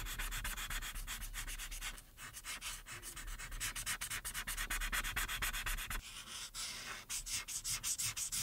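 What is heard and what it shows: A hand with long red acrylic nails rubs and scratches the orange felt tip of a white plastic alcohol marker across a thin, solid printed paper coloring page lying flat on a dark backing board, coloring in the face. Rapid, repeated short strokes make a dry, bright scratching and rubbing sound with little low end and a quick dip in the middle.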